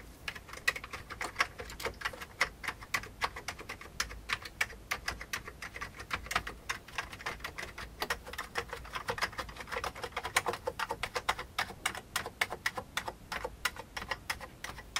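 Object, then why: Plastic computer keyboard keys. Fingertips of both hands type fast on an old beige full-size plastic computer keyboard with hollow keycaps. A dense, uneven stream of dry, hollow plastic taps runs for about fifteen seconds, each tap bright and clicky with almost no low end and dying away almost instantly.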